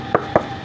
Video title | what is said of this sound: We Drove 6 Hours For These Water Troughs! | you don't hear that hollow sound because of that insulation that's in there